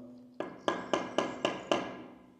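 Six sharp taps on a newly laid ceramic floor tile, done to check the tiler's work, each giving a short, bright knock with little low end and almost no ring. The tile sounds solid, a well-bonded tile.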